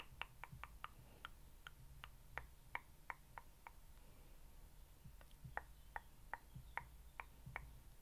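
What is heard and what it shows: A small rose quartz facial roller with a metal frame and solid stone rollers is held in one hand and tapped with fingernails. It gives a quick, irregular series of sharp, dry clicks with a faint glassy ring near 2.2 kHz and 1 kHz, each dying out almost instantly. The clicks pause briefly around the middle and then resume over a soft, low background hum.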